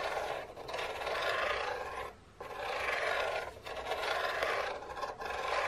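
Long painted nails rub and scratch along the side of an unwrapped, printed cardboard biscuit box that is long and hollow. Each slow, sweeping stroke makes a dry, rasping scrape that is bright and airy with almost no low end, and the strokes are separated by short quiet pauses.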